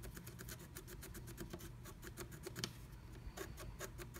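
A wooden stylus scratches flat black scratch art paper inside a diamond-shaped stencil cut-out with repeated strokes. Quiet, rapid, dry scratching bursts follow one another in a steady rhythm, each a brief bright rasp over a soft low rumble.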